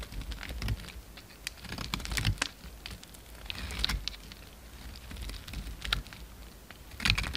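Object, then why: Bar of cream soap. A hand-held bar of solid cream soap, carved into a slim shape, is shaved with a utility knife blade. Quick, crisp scraping and cutting strokes come in uneven bursts over a low rumble, with bright crackly detail on each cut.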